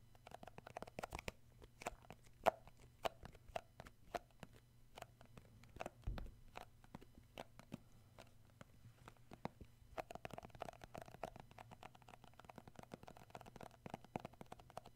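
Fingertips tap and grip the lid and side wall of a round plastic shea butter tub held in the hand. Many quick, dry, quiet taps come in irregular bursts, with a faint hollow plastic tone around 680 Hz and some scratchy gripping over a low steady hum.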